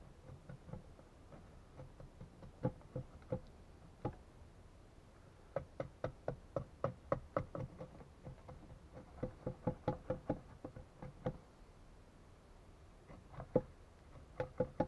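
A steel axe repeatedly chops and knocks a solid wooden log resting on a workbench. Short, dry wooden knocks with a hollow tone around 500 Hz land in irregular bursts, each dying away almost instantly, separated by brief quiet pauses.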